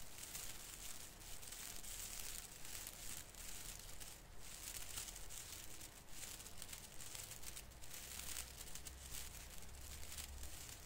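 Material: Plastic.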